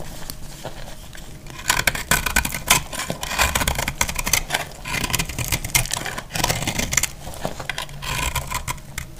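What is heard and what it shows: A utility knife blade scrapes and cuts crumbly shavings off a solid, dry brown speckled soap bar held in the hand. After a quieter opening, dense, dry, crackly scraping and crunching bursts set in, bright and gritty with a low thud underneath, continuing in uneven strokes to the end.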